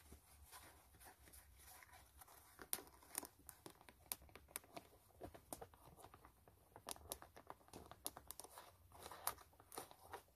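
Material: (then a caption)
Canvas. Long nails scratch the white canvas upper of a low-top sneaker near the eyelets. The result is quiet, dry, papery scratching, with a dense stream of short, bright crackles and sharper clicks over a faint low hum.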